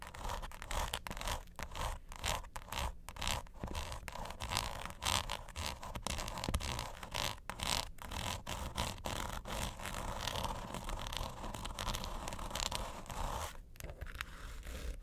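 Long nails scratch the diamond-textured top of a small, closed, hollow mint-green quilted hard plastic vanity suitcase near its front edge. The result is a steady run of quick, irregular, dry rasping strokes with a bright scraping edge over a low, hollow body, each stroke stopping dead with no ring.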